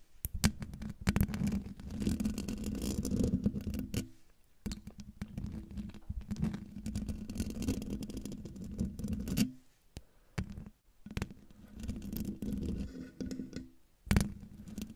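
Long dark nails scratch the hollow metal mesh grille of a silver condenser microphone, then its metal body. The result is a dense, low, buzzing rasp centered around 190 Hz with scratchy upper texture, broken by brief silences near 4, 10 and 14 seconds and a few sharper scrapes.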